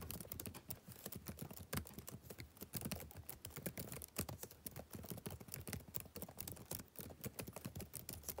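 Fingertips type rapidly on the plastic keys of a backlit laptop keyboard, producing a steady stream of quick, light clicks and taps. Each tap is short and dry, with a soft low thump under bright, crisp clicks.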